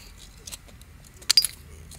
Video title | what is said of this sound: Heat treating flint part 1 | it sounds like glass clanking together